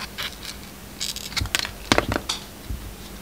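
A utility knife blade cuts slices off a solid, hand-sized bar of soap with a red heart-decorated coating and a yellow-white striped inside. It makes a series of short, crisp, bright scraping crackles with faint soft thuds, in clustered bursts over a quiet background.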